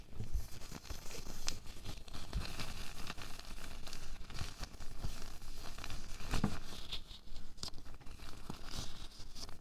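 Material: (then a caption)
Latex. An empty, loose pink latex glove is scrunched and stretched by both hands. It gives a steady stream of crinkling and rubbing with short, sharp crackles throughout the clip.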